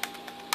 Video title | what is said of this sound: Soeks 01M Radiation Detector - First Look and Use | the battery hatch you can hear it is loose when you shake it around